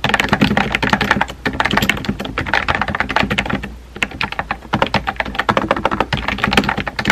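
Fingertips with painted nails rapidly tap the round white-and-pink typewriter-style keycaps of a compact pink plastic mechanical keyboard with a hollow body, resting on a desk. Quick, clicky, hollow key strikes run in dense bursts with a low tonal body and bright clicks, pausing briefly around the middle. Each strike dies away almost at once.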